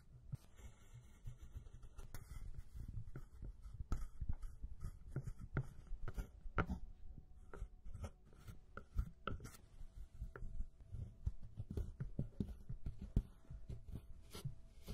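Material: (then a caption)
Pressed powder. A small metal spatula scrapes and crushes the pressed powder pans (brown, beige and shimmer) of a pink plastic eyeshadow palette into crumbs. The sound is a quiet, continuous low scratching and grinding, dotted with many short, dry clicks and taps.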